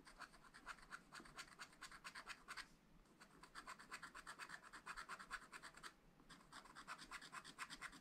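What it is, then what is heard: Wax-coated scratch art paper. A wooden stylus scratches quick hatching strokes into a black wax-coated scratch art sheet in a flat spiral pad, working over a green tower. Rapid, dry, bright scratches repeat at about two per second, with brief pauses near three and six seconds.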